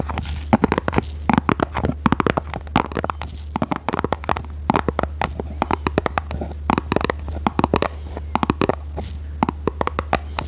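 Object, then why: Small cardboard box. Long red nails scratch and tap the faces of a small red printed cardboard product box for Christmas lights, hollow and likely filled, held close without touching. Dense bursts of dry, crackly taps and scrapes come in quick clusters, each cutting off almost instantly, over a steady low hum throughout.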